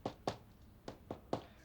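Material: Bread crust.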